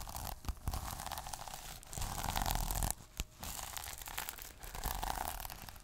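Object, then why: Plastic sequin notebook cover. Fingers quickly scratch and rub the plastic sequins on the cover of a small sequin notebook. The result is a dense run of bright, crackling rasps and flicks, with a few sharper clicks and short pauses between bursts.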